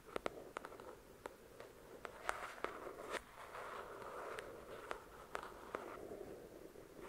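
Long pointed dark red nails scratch and tap the glossy card cover of the paperback novel "The Shack," a book of solid paper. A soft, steady scratching rasp runs throughout, broken by sharp, dry clicking taps that stop instantly, with no ring.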